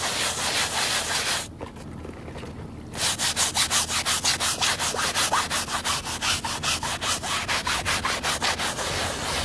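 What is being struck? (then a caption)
Woven fabric rug. A hand scrubs the soapy woven backing of a very muddy fabric rug with a plastic bristle brush, making a bright, hissy scratching. After steady rubbing and a brief quieter pause, the brushing picks up into a quick, fairly regular back-and-forth rhythm of about nineteen distinct strokes.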